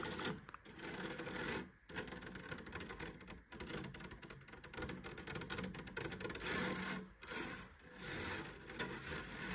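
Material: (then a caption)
Rattan. Long nails scratch and tap across the woven rattan cane panel of a light wooden cabinet door, a thin mesh stretched over a hollow cabinet. The result is a dense, continuous rasping rattle of quick, dry clicks, with a few brief pauses between strokes.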